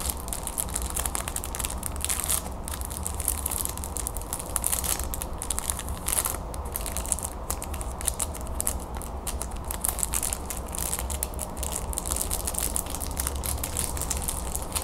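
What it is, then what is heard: Plastic-wrapped hard candy stick. Long pink nails scratch and squeeze the clear, crinkly plastic wrapper on a long, thin, solid gold hard candy stick held in the hand, while a second red candy stick lies untouched on the table. The result is a steady stream of dense, rapid crinkling and crackling with bright, crisp edges over a constant low hum.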